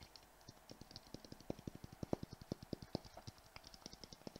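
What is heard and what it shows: A palm-sized, clear, round, hollow glass Christmas ball ornament with glitter inside is tapped and lightly scratched by the fingertips and nails of both hands, held close to the microphone. The result is a fast, steady stream of about 40 quiet, dry taps, each a short knock with a bright click on top that stops almost at once.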